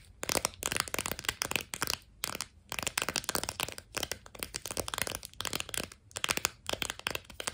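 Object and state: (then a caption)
Sidewalk chalk in a plastic blister pack. A plastic-and-cardboard blister pack of sidewalk chalk is turned in the hands and tapped quickly with long nails. Bursts of bright, crisp plastic clicks and crinkles follow one another rapidly, separated by short pauses, with no ringing after each tap.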